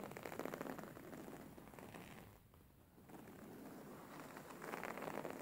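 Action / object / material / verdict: scrape / stitched linen fabric pillow / linen fabric / none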